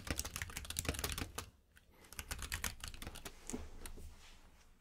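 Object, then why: Mechanical keyboard with plastic keycaps. Fingertips of both hands type steadily on a compact mechanical keyboard with plastic keycaps, producing rapid, bright clicking keystrokes over a low hum. The typing runs in dense bursts, pauses briefly around the middle, then resumes and fades quieter toward the end.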